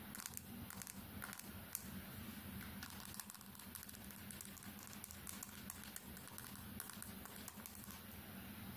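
Long nails tap rapidly on the glass screen of a small, solid smartphone that has been turned from horizontal to upright. The result is a fast, steady stream of short, bright clicks with almost no ring, over a soft, constant low background.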